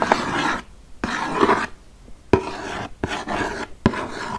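Long nails and fingertips tap and scratch the front face of a large, flat, printed cardboard "200 Spellendoos" game box, held upright and likely closed with game pieces inside. Bursts of dry, raspy scratching alternate with short pauses, and sharp taps punctuate the start of several bursts.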